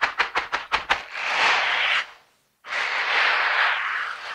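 Silicone-bristled dishwashing gloves worn on both hands are rubbed palm and finger against each other close up. Six quick, bright bristly swipes are followed by a steady hissing scrub, a brief silence, then a second long, continuous rubbing stretch.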